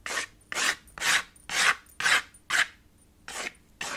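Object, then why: Chalk on a small wood-framed chalkboard slate. White chalk held in the fingers rubs and scratches in dense cross-hatching over a small chalkboard slate with a red wooden frame. Eight raspy, bright scraping strokes come at about two per second with short pauses between them, and the last two are softer.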